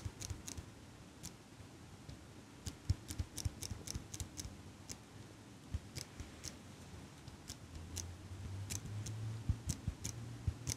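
A small chrome and gold metal eyelash curler with scissor-like handles is held in front of a microphone while long pink nails squeeze and click the handles and tap its frame. Around 25 crisp, bright metallic clicks and taps sound at uneven intervals over a soft low rumble, and a low hum rises near the end.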